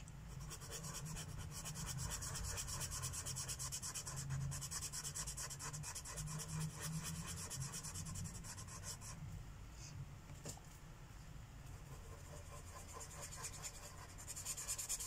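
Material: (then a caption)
Paper. A Sharpie felt-tip marker is rubbed continuously across a thin paper coloring book page lying on a wooden table while coloring. The result is a steady, rapid, scratchy back-and-forth rubbing with a bright hiss over a low background rumble. The strokes grow softer partway through, then pick up again near the end.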